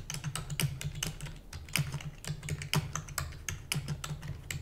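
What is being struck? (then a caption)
Plastic computer keyboard. Long nails and fingertips of both hands rapidly type on a full-size black plastic computer keyboard with hollow keys. About two dozen quick, bright clicking keystrokes land over a steady low hollow thump. Each tap dies away almost instantly.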